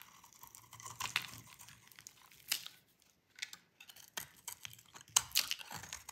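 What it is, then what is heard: Dry bar soap being shaved. A metal utility-knife blade shaves and carves flakes off a hand-sized, solid, light blue bar of dry soap held in one hand, and the flakes fall away. Dry, bright scraping and crisp crackling cuts come in uneven bursts with short quiet gaps, with sharper snaps near the end.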